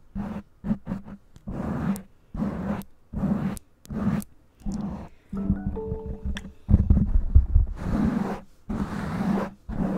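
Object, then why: Foam microphone windscreen. Long nails scratch and tap a black foam windscreen on a microphone, and fingers briefly touch the black mic body. The result is a run of close, muffled, bass-heavy rustling bursts separated by short pauses. Midway comes a quieter stretch with faint tonal ringing, followed by louder, denser scratching.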